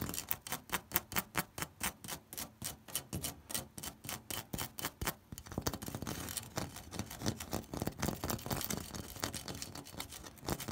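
Fingertips tap and scratch an orange, ribbed terracotta corrugated clay roof tile. For about five seconds there's a steady, even run of sharp, dry clicky taps. It then shifts into faster, denser scratching and rubbing with scattered quick taps, bright and crisp throughout.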